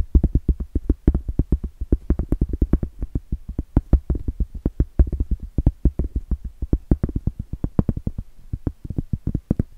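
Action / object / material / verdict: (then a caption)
tap / cork trivet / cork / none. Long blue acrylic nails tap and scratch the flat face of a round, solid cork trivet held up in the air. The result is a rapid, uneven stream of dull, dry, low thumps with almost no ring, plus faint scratchy texture between the taps.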